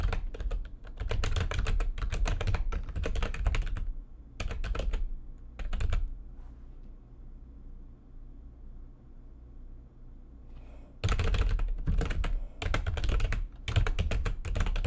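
Long nails and fingertips type fast on a backlit plastic computer keyboard, including single-finger key taps. Dense bursts of clicky keystrokes with a heavy low thud run for about four seconds, then come in short spurts. A five-second lull holds only a faint low hum before rapid typing resumes to the end.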